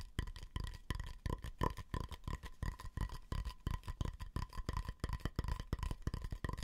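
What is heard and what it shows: Fingertips and nails tap and scratch the outer surface of a medium, hollow, round wooden bowl held upside down near the face. The result is a rapid, uneven run of dull, hollow knocks, heavy in the low end, each with a faint short tone near 1 and 2 kHz. Softer scratchy rubs sit between the knocks.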